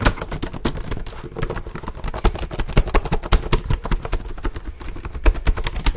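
Fingertips type fast and hard on the plastic keys of a black plastic HP laptop held up close. The result is a rapid, uneven stream of sharp, dry clacks over a low, thumping body, each click dying away almost instantly.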